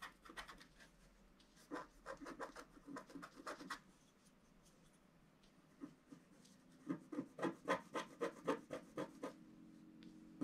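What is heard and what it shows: A wooden stylus scratches a black wax-coated scratch art card lying flat, working near the presents. Quick, dry strokes come in bursts of short scratches, then a quieter pause, then a faster, louder run near the end. Each scrape is papery and bright, with almost no ring.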